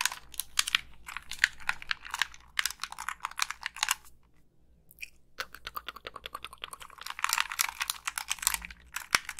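Long pink nails tap and scratch the casing of a black, hollow plastic Xbox 360 gamepad held up near the face, and click its buttons. Dense, bright, crisp clicks and scratchy taps come in quick bursts, stop briefly around the middle, then pick up again. There is almost no low end or ring.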